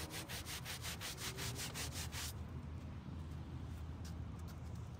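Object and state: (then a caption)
Carpet car floor mat being scrubbed. A gloved hand scrubs a grey carpet car floor mat, flat and damp with cleaner on a white plastic folding table outdoors, back and forth with a stiff-bristled plastic scrub brush while the other hand holds the mat down. Quick, bright, rhythmic scratchy strokes fill the first two seconds, then give way to softer, duller rubbing with a few sharper brush passes. A steady low rumble runs underneath throughout.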